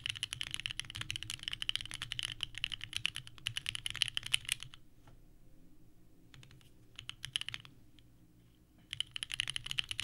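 Both hands type continuously with their fingertips on a small 65% mechanical keyboard with a purple case and white ABS keycaps resting on a desk mat. Rapid, bright, clacky key presses fill the clip, pausing briefly in the middle to a low hum with a few scattered clicks before dense typing resumes near the end.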